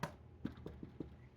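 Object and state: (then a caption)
Baked bread loaf, hollow (done). A freshly baked homemade Italian herb garlic bread loaf, just dumped out of its pan, is knocked five times. Each knock gives a short, dull, low thud. The hollow sound shows the loaf is baked through and done.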